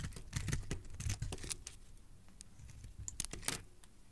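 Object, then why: Soap bar shaved with a metal blade. A metal utility-knife blade shaves and scrapes curls off the edges of a solid, translucent, hand-sized purple soap bar held in one hand with dark-painted nails. Quiet, crisp scratching and crackling strokes come in quick bursts, with bright ticks over a soft low rumble, and fade between cuts.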